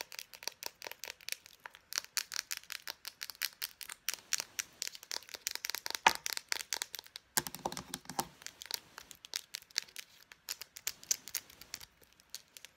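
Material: Plastic.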